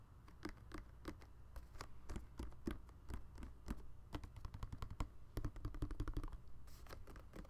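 A hand-sized, hollow, red and white plastic balloon-animal dog night light, glowing from inside, is held in both hands and turned while fingertips and nails tap and rub its smooth plastic surface. A rapid, uneven run of dozens of short, dry clicking taps plays over a steady low hum, with faint rubbing between them.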